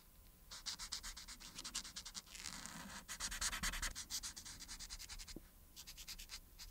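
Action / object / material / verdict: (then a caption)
scrape / felt-tip marker on a thin paper sheet / paper / none. A marker's felt tip rubs back and forth across a thin printed paper coloring sheet lying flat, coloring in the cap and then the buttons. Dense, bright scratchy strokes sound in rapid bursts, with a steadier stretch of continuous rubbing in the middle.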